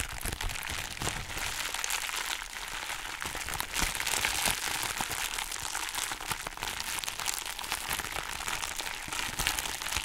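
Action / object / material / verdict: scrape / thin plastic foam packaging sheet / plastic foam / none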